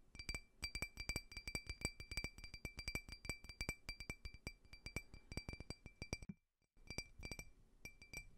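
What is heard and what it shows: Fingernails rapidly tap a small, clear, faceted drinking glass that is hollow and empty and held sideways. The taps are bright, glassy clinks with a clear tone around 2.3 kHz and very short ring, over a soft low thump. They run in quick, uneven bursts, pause briefly near the 6.5-second mark, then resume.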